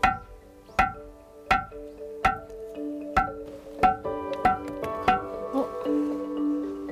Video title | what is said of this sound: [특집] 세 가지 소원을 이루는 명당, 밀양 삼봉사 | 두들겨 보니까 정말 종소리처럼, 종을 치는 것처럼 종 소리가 나니까